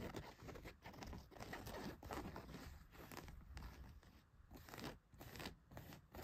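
Long white nails scratch a pair of blue denim jeans laid flat, working over the back pocket and down the leg. The result is a steady, rough, crunchy scraping with a soft low rumble, swelling and dipping in short strokes with no ringing afterward.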